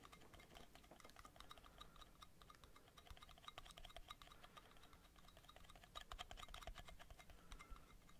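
Metal lids are tapped rapidly in a binaural recording, producing a dense stream of quick, clicky ticks. Each tap gives a brief metallic ring, with bright tones around 1.2 kHz and higher, over a faint low rumble. The tapping stays soft and steady, growing a little louder and busier near the end.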